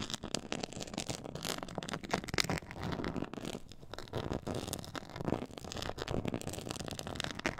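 Long acrylic nails on both hands scratch and tap across a black glossy faux-leather board with a raised diamond quilted texture. The sound is a dense, continuous run of crackly scratches and quick dry taps with a bright edge and very short decay. The level rises and falls steadily throughout.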